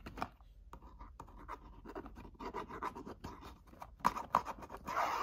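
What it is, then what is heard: Cardboard box, scratched and tapped. Long nails scratch and tap the face and edges of a tall, narrow, hollow orange-and-red printed cardboard box standing upright in a gift crate. Dry, papery scratches mix with short, hollow taps in an irregular rhythm. A few sharper taps stand out near the end before a steadier scratching rasp closes the clip.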